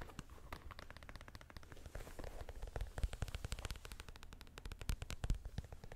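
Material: Rubber, plastic.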